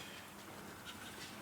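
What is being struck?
Nothing is struck.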